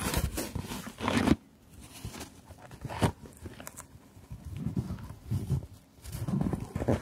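Long fingernails tap and scratch the lid of a long, closed, hard jewellery case covered in patterned fabric, held in both hands. The sound is soft, muffled scratching and tapping, mostly low with little brightness, broken by a brief quiet pause before the scraping resumes in bursts.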